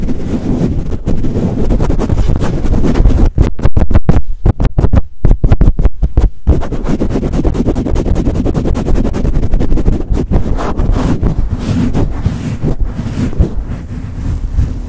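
Fingertips grip a soft, hollow black foam windscreen on a microphone, pumping it up and down and rubbing it fast. The result is loud, muffled, bass-heavy thumping and scratchy rustling in rapid bursts, with a stretch of choppy, gated pulses in the middle.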